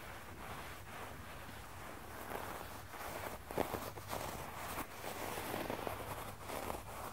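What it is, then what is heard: Synthetic low-pile carpet. Bare fingertips and short nails scratch and tap across a flat, solid red low-pile synthetic carpet with both hands, making a soft, continuous rustling scrape over a low background hum. Two sharper taps stand out from the scratching.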